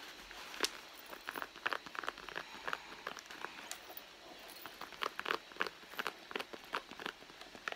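Long blue nails scratch and tap the leather side panel of a hollow red soft-leather handbag. The result is a quiet, irregular run of short, dry clicks and taps over a soft scratchy rustle, centered in the mid range around 1.5 kHz with bright edges and no low end.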